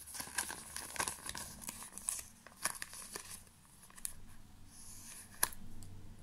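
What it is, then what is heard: Plastic pouch. A small black glossy plastic pouch is crinkled and rubbed between the fingers. Its surface gives off a dry, bright crackling with sharp clicks. Between the louder snaps, a softer rustle carries on, with a low rumble underneath.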